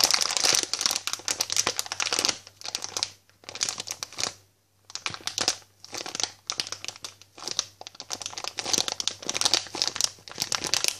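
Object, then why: Flexible plastic sweet packet filled with sweets. A yellow, hand-sized, flexible Bassetts Jelly Babies plastic packet filled with sweets is held in both hands and crinkled and tapped with long painted fingernails and fingertips. It makes bright, crackly crinkling in bursts separated by short silent pauses, with a faint steady low hum underneath.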